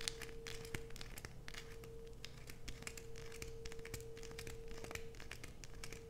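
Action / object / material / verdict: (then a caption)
scrape / bar of soap / soap / none. Long nails scratch and scrape shavings off a solid light-blue bar of soap held in both hands, letting them fall onto a dark sheet. The result is a quiet, continuous run of dry, bright crinkling scratches with short sharp flicks scattered throughout, over a faint steady hum.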